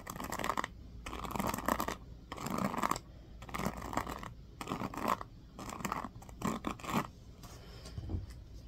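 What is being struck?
Plastic paddle hairbrush bristles.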